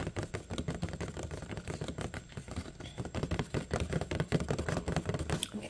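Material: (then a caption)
Plastic. Long painted nails and fingertips tap rapidly and unevenly on a clear plastic clamshell box with a paper label, full of kiwi fruit, resting on a wooden table. The taps are short, dry clicks and knocks with a low, hollow body and almost no ring, running steadily through the clip with a few louder hits near the end.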